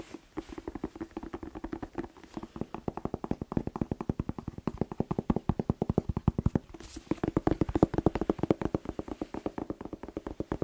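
A whole fresh red bell pepper, hollow with glossy skin, is tapped rapidly with fingertips and nails. Dozens of quick, hollow, dull taps land in a steady patter, each with a low-mid resonant knock that dies almost instantly. The taps thicken into a denser, slightly louder burst toward the end.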